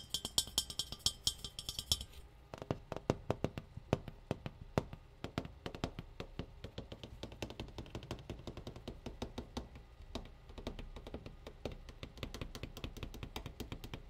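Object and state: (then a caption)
Metal tea kettle. A metal tea kettle is tapped over and over in quick, uneven bursts, giving short, bright metallic clinks that die away almost at once. A thin high-pitched shimmer rides over the tapping in the first two seconds, then the clinking carries on steadily at a soft level.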